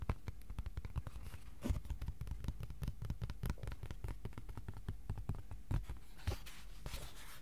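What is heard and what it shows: A flat white cardboard sheet is held in both hands while fingertips tap rapidly and irregularly on its face. The taps are soft, dull thuds with a deep low body, each dying away almost at once, with a few louder taps standing out against a faint steady background hiss.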